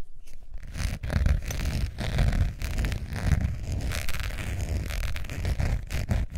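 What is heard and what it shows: Long nails scratch the face and edge of a long beige textured faux leather wallet with a metal zipper, held in both hands. Dense, continuous scratching comes in rough, uneven bursts, heavy in low rumble with faint brighter scraping textures on top.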